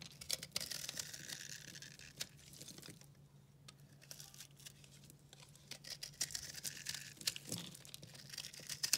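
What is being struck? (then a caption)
Soap bar carved with a knife. A solid, pale pink and yellow dry recycled soap bar is held in the hand and carved with a utility knife, so it crumbles. Bright, dry scraping and crackling carry rapid crisp ticks, ease to a quieter stretch in the middle, then pick up again toward the end over a faint low hum.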